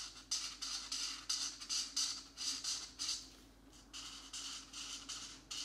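A felt-tip marker scratches and rubs back and forth across a thin paper page of a coloring book held flat, filling in blue shapes. About 14 quick, bright, hissy strokes come in an uneven rhythm, each short scratch rising and fading, with a brief quieter pause in the middle.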